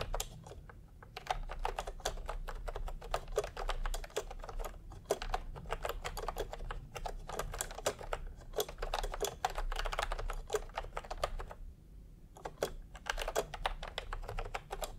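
Fingertips type fast on a full-size plastic milk-tea retro computer keyboard with round pastel typewriter-style keycaps and a hollow body, resting on a white cloth. A dense stream of short, dry, hollow clacks runs throughout, broken by brief pauses near 1, 5 and 12 seconds. The clacks sit in a rounded mid-range over a soft low rumble, with little bright edge.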